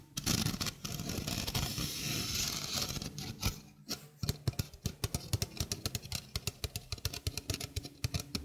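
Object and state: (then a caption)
Stainless steel mesh sink strainer. A small, hollow stainless steel mesh sink strainer is held in the hand while fingernails scratch across its mesh. For the first few seconds the scratching is a dense, continuous rasp with a bright metallic hiss over a low hollow rumble. After a short pause, it turns into a quick series of crisp, separate scrapes and ticks that die away almost instantly.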